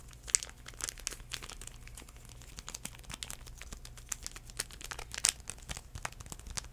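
Fingertips scratch and crinkle a small sealed foil-paper sanitizing wipe packet held in the hands, making a dense run of quick, dry, bright crackles and scrapes with no ring. Two louder crinkles stand out near the start and toward the end, over a faint low hum.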